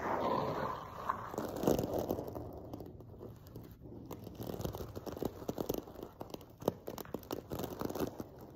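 Fingertips and nails scratch the surface of a silver sequin-covered fabric cushion, producing a dense run of short, dry crinkling scrapes and clicks. The scratching rises and falls in uneven bursts, with brief louder clicks standing out, mostly in the mid range with little low or high content.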